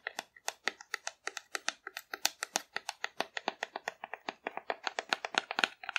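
A hollow painted cardboard dinosaur figure, held upright, is rubbed and scratched with long nails. About forty quick, dry, crisp scratching strokes follow one another in an uneven rhythm, each with a bright papery edge and almost no ring or low end.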